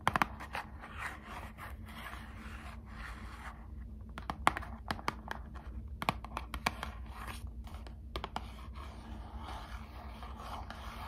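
Long acrylic nails scratch and tap on a small, closed, hollow Squishmallows trading card box made of thin printed cardboard. Soft, dry scratching runs throughout, broken by short, sharp clicks over a steady low hum.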